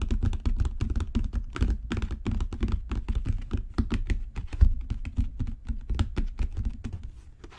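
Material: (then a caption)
Leather. A solid, dark brown genuine leather book cover is tapped with fingertips and nails. It gives a rapid run of dull, low thuds with faint bright clicks from the nails, each dying away almost at once. The tapping continues steadily and grows slightly softer toward the end.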